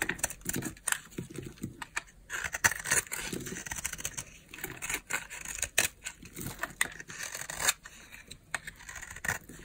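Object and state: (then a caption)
Bar of soap being scraped. A palm-size, solid oval bar of dry green soap is held in the palm and scraped with a utility knife blade. It makes a rapid series of crisp, dry scraping strokes, bright and scratchy with very little low end. Each stroke stops short with no ring.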